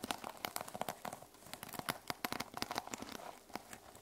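Long nails rapidly scratch and tap the teal plastic sequin cover of a small notebook resting on a wooden table. The result is a dense run of quick, bright, crinkly clicks over a soft scratching hiss, with each tick dying away almost instantly.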